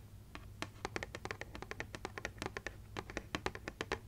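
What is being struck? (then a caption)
Paper gift bag. A small, hollow printed paper gift bag with a Santa design and a red handle is tapped and scratched with long nails. The result is a steady run of quick, dry, papery clicks and scratches with a faint low hum underneath.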